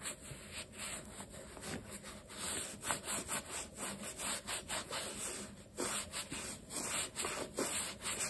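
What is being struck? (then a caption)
Leather sneaker. A black leather low-top sneaker with metal eyelets, stuffed with a cloth and held in one hand, is rubbed across its leather and sole edge with a dark cloth over the fingertips. Quick, uneven swishing strokes make a bright, airy rubbing sound with soft thuds underneath.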